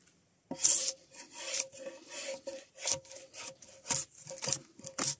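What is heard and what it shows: Gloved hands pull a draw knife along a solid spruce softwood log, scraping off the last strips of bark. It makes a series of short, bright, rasping scrapes, each carrying a faint steady tone near 550 Hz with almost no low end. The strokes come in uneven bursts, some louder and sharper than others.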